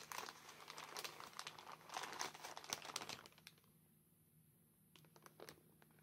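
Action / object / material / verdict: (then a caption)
scrape / soft plastic mailer bag with a packet inside / plastic / none. A small, soft grey plastic postal mailer bag with a white Royal Mail label and a packet inside is held and squeezed by furry costume gloves with hard black plastic claws. The plastic gives dense, bright crinkling and rubbing for about three and a half seconds. The sound then drops to near silence, broken by a few faint, sharp crinkles.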